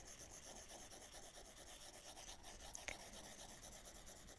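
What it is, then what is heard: Stylus on glass tablet screen. A plastic Apple Pencil tip in a pink wrap strokes and rubs across the solid glass touchscreen of a large 12.9-inch iPad Pro lying flat, held in one hand while the other hand with long nails rests still beside the tablet. Continuous drawing strokes make a quiet, steady, bright rasping rub in soft rhythmic swells, with one brief sharper tick near the three-second mark.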